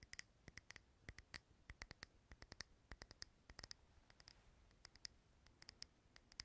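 A small clear glass jar filled with green wax, lit as a candle, is held in the hand close to the recorder and tapped and scratched with fingernails. Quick, dry clicks and ticks with a bright, glassy ring sound in uneven bursts, with soft scratching between them over a quiet background.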